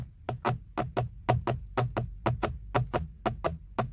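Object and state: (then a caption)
Plastic steering wheel airbag cover. Fingertips and nails tap and knock around the badge on a textured black plastic BMW steering wheel airbag cover, a hollow molded panel. There are sixteen short, dry, hollow knocks, often in quick pairs, at a steady rhythm. Each has a low body and a brief bright click that dies away almost at once.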